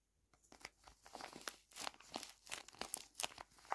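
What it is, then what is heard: Tape-covered paper squishy. A palm-sized rectangular My Melody paper squishy, covered in clear tape and soft and stuffed, is squeezed, pressed and rubbed by both thumbs and fingertips with short nails. A quiet, bright run of sharp crinkles and crackles comes from the paper and tape, with almost no low end.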